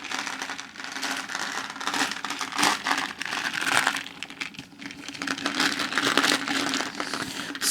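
A plastic cake container, its cake swapped out for gumballs and candy, is shaken for several seconds. The contents give a continuous bright rattling and crinkling that swells and fades in waves, with little low end.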